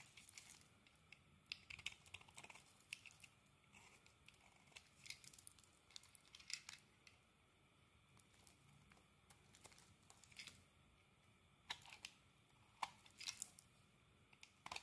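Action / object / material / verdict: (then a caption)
scrape / soap bar scraped by a metal blade / soap / none. A metal blade scrapes across a solid green bar of soap and carves off shavings. The sound is quiet, crisp and bright, with crinkly, dry scraping strokes and sharp little crackles in uneven bursts separated by soft pauses. It has almost no low end and no ring after each stroke.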